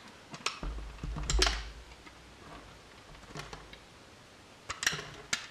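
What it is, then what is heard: Bar of soap being shaved. A solid blue bar of soap, held in the hand, is shaved with a metal utility knife blade, and the flakes fall onto the table. Crisp, bright scraping clicks come in short bursts over a soft low rumble, with quiet pauses between the cuts.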